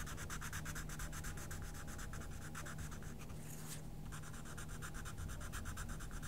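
A wooden coloured pencil is rubbed firmly back and forth over a page of a small paper colouring book lying flat on a table. It makes a rapid, rhythmic, sanding-like scratch with bright strokes over a low steady hum. The strokes break briefly near the four-second mark before resuming at a steady pace.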